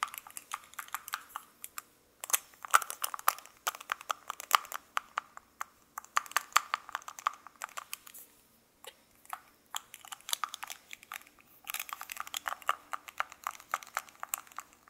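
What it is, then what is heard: Metal lipstick tube, cap clicked on and off. A small gold-coloured metal lipstick case with lipstick inside, held in both hands, has its cap clicked on and off by fingertips with light handling, while a second lipstick lies still nearby. Dense bursts of quick, dry metallic clicks and taps centred around 1.2 kHz, with bright edges, come in clusters separated by brief pauses near 2 and 8.5 seconds. Each click stops almost instantly, with no ring and no low end.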